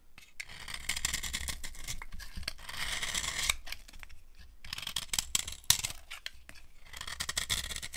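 A metal knife blade scrapes across a hand-held dry white solid cream soap bar with a silver-painted surface, carving off shavings. The result is dry, crunchy, bright scraping strokes in uneven bursts separated by brief pauses, with a faint low rumble underneath and a few sharper crackles partway through.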